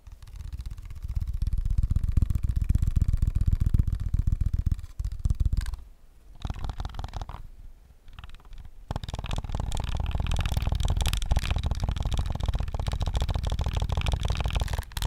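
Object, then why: Plastic game controller. Fingertips tap rapidly on the grips, back and buttons of a hollow plastic PS5 controller. The tapping is fast, dense and uneven, with dull, low, hollow knocks. It dips quieter around the middle before picking back up to a steady flurry.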